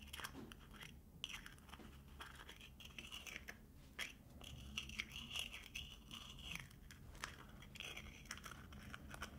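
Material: Aluminium.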